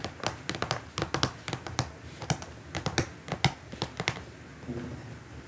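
Long nails tap on a flat, transparent plastic pouch holding printed paper leaflets, resting on a table. Around twenty sharp, dry clicks come in quick, uneven bursts, each with a bright crackle and a short low thud that dies away at once. The taps thin out toward the end, leaving a faint rustle.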